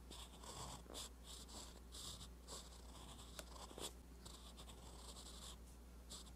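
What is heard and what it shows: A steel fountain pen nib scratches across a flat, lined page of a spiral-bound paper notebook while writing. Quiet, bright, papery scratching comes in short repeated strokes, with a couple of sharper ticks near the middle, over a steady low hum.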